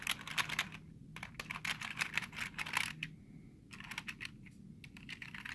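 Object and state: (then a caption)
Plastic computer keyboard. Fingertips tap and rub the space bar and lower row of keys on a black plastic computer keyboard, with the hand close by. Quick, bright plastic clicks come in irregular bursts, mixed with softer scratching and rubbing. There is a short lull in the middle before the tapping resumes.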